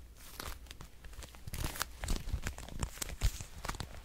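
A dark red, glossy patent leather wallet is scratched and tapped with long nails, producing dense crinkly scratching over low thumps and sharp, bright clicks. The taps come irregularly throughout at a soft level.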